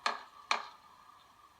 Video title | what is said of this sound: 16 November 2016 | any sound differences suggest there are Hollows beneath the surface where it has come away